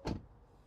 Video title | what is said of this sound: 2024 Mustang Mach-e Premium! Would you buy it? | this feels a little more damped in comparison but I still don't like the thud